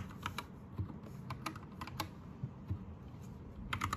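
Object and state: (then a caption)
Plastic mechanical keyboard typing. Both hands type with their fingertips on a white, green-lit 60% Anne Pro 2 mechanical keyboard with plastic keycaps. About ten separate keystrokes land in short, clacky bursts, each with a low thump and a bright top that dies away quickly. They come at an uneven pace, with a quick cluster at the end.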